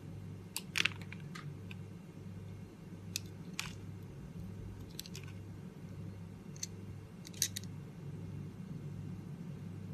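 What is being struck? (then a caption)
Bar of soap cut with a knife blade. A metal utility-knife blade carves and scrapes curls off the pink layer of a hand-held, solid, palm-sized oval bar of multicoloured soap with an embossed logo. Short, crisp, bright crunching scrapes come in scattered bursts over a steady low hum.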